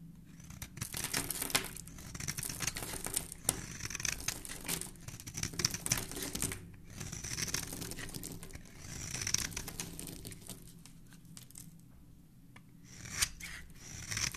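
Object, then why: Bar of soap scraped with a metal blade. A solid oval yellow bar of soap, held in one hand with dark-painted nails, is scraped and shaved with the edge of a metal utility-knife blade, peeling off crumbly shavings. The sound is a dense, bright, crackly scraping and crinkling with quick sharp scratches, coming in waves with brief pauses between strokes.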